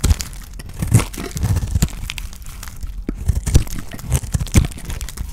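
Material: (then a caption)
Soap. A solid white oval bar of dry soap, held in the hand, is scraped and shaved with a utility knife blade, with flakes breaking off. The result is a run of dry, crunchy crackles and crumbly scraping, each stroke landing as a short, dull bump in the low end with only faint bright grit on top.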